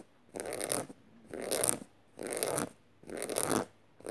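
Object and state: Studded canvas tote bag.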